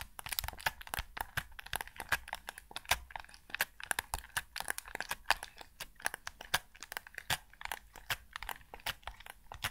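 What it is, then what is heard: Plastic game controller. Fingertips press and tap the buttons and hard plastic shell of a white PS5 DualSense controller, a hollow, hand-sized game controller. A rapid, uneven stream of sharp, dry clicks and taps is heard, bright and crisp with little low end. Each one cuts off almost instantly.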